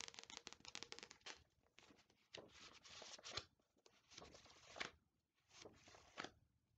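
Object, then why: Paperback book with glossy paper cover. Long nails tap and scratch the glossy paper cover of an Attack on Titan paperback manga volume, which is solid and held upright. A quick run of crisp, bright taps gives way to longer, hissy scratching strokes separated by short pauses. The sound is dry, with very little low end.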